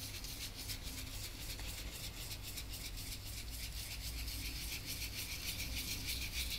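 A gloved hand rubs the cracked paint layer on the face of an old oil portrait on canvas, lying flat, using small strokes with a soft brush or swab on a yellow wooden handle. It makes a steady, quiet, bright scratchy swishing that repeats quickly and somewhat unevenly over a continuous low hum.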